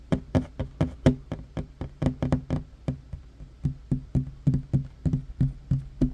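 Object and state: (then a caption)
Wooden table. Short fingernails of one hand tap fast on a large, solid, worn wooden tabletop. Twenty-two quick, dull knocks land in an uneven rhythm, each low and woody with a faint bright click on top and dying away almost at once.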